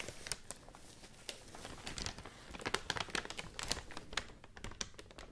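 A large, thin white rice paper sheet with visible fibers is held in both hands and crinkled and rubbed with fingertips and long nails. It makes a quiet, continuous run of crisp, bright crackles, with short sharp snaps rising above a soft, papery rustle.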